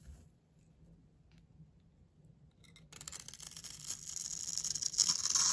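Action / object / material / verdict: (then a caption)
scrape / bar of soap scraped with a metal blade / soap / none. A solid light blue rectangular bar of soap, held in the hand, has its top edge scraped and shaved with a metal utility knife blade. After about three seconds of near silence, a bright, dry scratching begins and grows steadily louder in quick, uneven strokes until the end.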